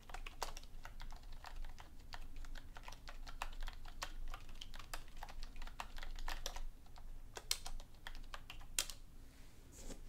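A black plastic computer keyboard is typed on with both hands, using fingertips and long nails. A steady stream of sharp, bright key-press taps and clicks rattles along over a low background rumble, with a few louder clacks near the end.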